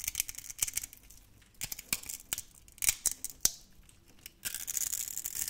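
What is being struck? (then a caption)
Bar of soap. A utility knife blade scrapes crunchy cubes off a solid, hand-sized, grid-scored orange soap bar. Bright, dry crackling snaps come in quick bursts separated by short pauses. A denser, steady scraping hiss fills the final second.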